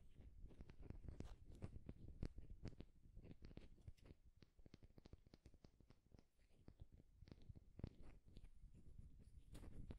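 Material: Wood.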